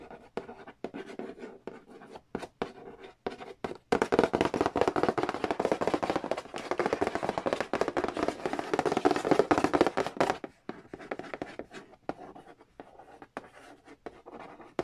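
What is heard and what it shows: Fingertips trace and scratch across the printed lid of a hollow cardboard Monopoly board game box. Sparse, quick dry taps and scrapes give way from about 4 to 10 seconds to a louder, dense stretch of fast continuous scratching. The sound then thins back out to scattered light taps.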